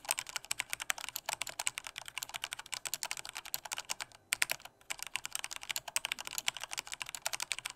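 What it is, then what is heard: Plastic mechanical keyboard. Fingertips type firmly on a black plastic full-size Corsair K68 mechanical keyboard with Cherry red switches. A rapid, steady stream of short, bright, clacky key presses with no low-end thump runs throughout, broken by two brief pauses just past the middle.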